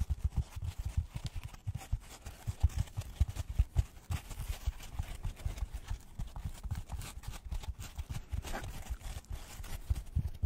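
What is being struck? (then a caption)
Polystyrene foam packaging block. Gloved fingertips tap a white polystyrene foam packaging block in quick, irregular bursts for about ten seconds. Each tap is a soft, dull, low thud that dies away almost instantly, with only a faint airy hiss above it.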